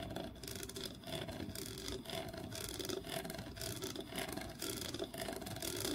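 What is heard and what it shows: Fingernails rub and scratch across the ridges of a small, solid wooden block with a grooved face, held in both hands. The sound is a steady, quiet, rasping scrape with rhythmic swells and a bright, hissy texture. A faint tonal hum sits around 380 Hz beneath it.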